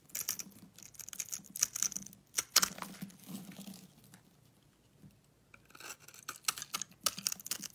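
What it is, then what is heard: Soap bar scraped with a blade. A solid purple soap bar, pre-scored in a grid and held in hand, is scraped with a metal blade so small cubes break off. Bright, crisp scraping and crackling bursts come in quick clusters, fall to a near-silent pause midway, then pick up again.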